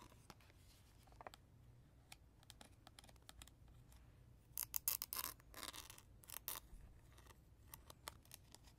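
Natural fingernails and fingertips scratch and tap the back of a hollow hard plastic lion baby toy, across its screws, speaker grille and battery cover. Short, bright clicks and scratchy strokes sit over a quiet low hum, with a louder cluster of rasping scrapes in the middle.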